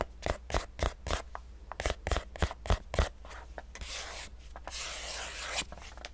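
A small, pale, hollow cardboard box is held close to the microphone and tapped and scratched with fingertips and nails. Quick, hollow, low-thumping taps come in an uneven run, then give way to a steady, bright, raspy scratching that fades out near the end.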